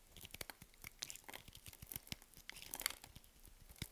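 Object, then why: Bar of soap cut with a blade. A box-cutter blade scrapes and chips cubes and flakes off the surface of a solid white bar of soap held in the hand. Quiet, crisp crackling and rapid short ticks come in irregular bursts. The sound is bright, with little low end and almost no ring after each snap.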